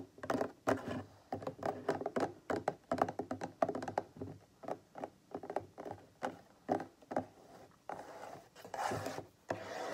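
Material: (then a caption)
Plastic. Fingertips and nails tap the side of a large, hollow white plastic bottle with a printed label standing on a table. They make a quick, uneven series of short, dry, hollow knocks in the midrange with almost no ring. In the last couple of seconds the sound turns into softer, scratchier rubbing taps.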